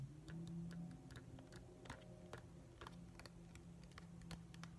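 A hand-sized, hollow, glossy plastic whale night light with a pale blue-grey top and white base is tapped and scratched with fingertips and nails. Quick, irregular, clicky taps with bright ticking edges come several times a second over a steady low hum.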